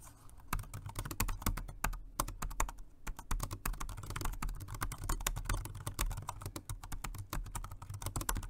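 Fingertips of both hands type continuously on the round low-profile keys of a full-size, dark grey plastic Jelly Comb dual-mode rechargeable 2.4G wireless and Bluetooth keyboard. The keyboard is flat, hollow-bodied and rests on a white desk. The result is a steady stream of short, light plastic clicks and taps with a hollow, low-weighted thud under each keystroke, dying away almost instantly.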